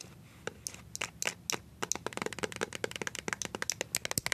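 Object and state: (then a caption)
Plastic squeeze tube tapped with metal-tipped nails. Nails covered in paper clips tap and scratch a small, filled white plastic BB cream squeeze tube held in the hand. After a quiet start, some two dozen quick, bright clicks and scrapes follow in an uneven run, each dry and short with almost no ring.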